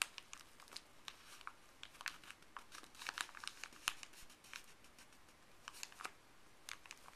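Fuzzy gloved fingers rub and crinkle a folded, thin printed paper pharmacy bag on a table. Quiet, bright, crisp crackles come in a steady run of short bursts over a soft rustle, each snap dying away almost instantly.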